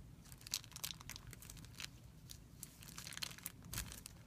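Fingertips scratch and rub a thin, clear plastic film bag resting on a white surface. The result is quiet, bright, crisp crinkling with many short sharp crackles and a faint low rumble underneath.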